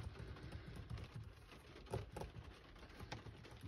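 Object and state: Plastic car radio buttons being tapped.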